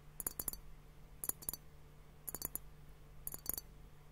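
A fingertip and nail tap on both bulbs of a hollow, clear glass liquid hourglass timer, partly filled with pink liquid and bubbles. Four quick bursts of sharp, bright clicks come through, each dying away almost at once. A faint steady low hum sits underneath.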